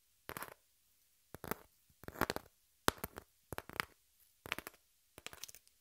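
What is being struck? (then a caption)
Corrugated cardboard sheet. Long nails scratch the surface of a hand-held piece of brown corrugated cardboard with a torn edge. Seven short, dry, raspy scratching bursts are separated by near silence. The scrapes are bright and papery with little low end and no ring.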